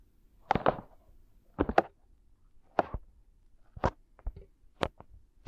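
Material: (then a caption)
Silicone. Fingertips rub and scratch over the soft silicone ears of a binaural microphone. Nine short, dull, muffled bursts of friction come at uneven intervals, centered in the midrange, each stopping almost at once against near silence.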